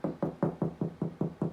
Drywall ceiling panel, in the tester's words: that sounds hollow to me